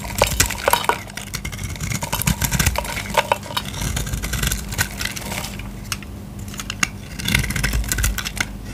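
A solid blue Lux bar of soap, held in the hand, is scraped and cut with a utility knife blade, shaving off dry flakes. Rapid, crisp crackling and sharp bright clicks come in dense bursts over a steady low hum. The flakes break away with a brittle, crunchy texture.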